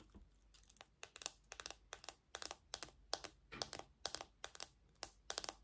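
Long nails tap and scratch the hollow back of a small pink plastic cushion hairbrush with black plastic pins. Quick bursts of bright, dry clicking and scraping come in a steady, uneven rhythm. Each burst stops short with no ring, and the room is quiet in between.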